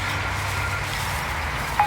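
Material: Nothing is struck.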